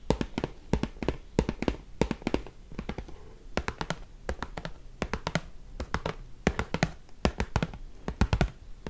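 Fingertips and nails tap and scratch the flat face of an open, hollow Wasa cardboard crispbread box held up in the air. Quick clusters of dry, hollow taps carry a dull low thump and crisp high clicks, with each tap dying away almost instantly. Soft scratching fills the gaps between the bursts.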